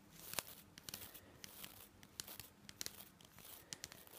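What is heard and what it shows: A long-nailed finger brushes and flicks across the nylon bristles of a green and white plastic toothbrush. The result is a quiet, bright, crackling scratch broken by sharp, quick ticks and flicks, with almost no low end.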